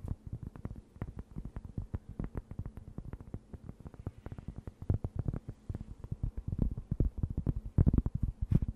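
A thin, round cork board, solid and flat, is held beside the mic and scratched and tapped with long nails. Dozens of quick, dull, low taps with no ring follow each other in an uneven, steady flurry, with a faint scratching texture between them. The taps grow a little louder toward the end.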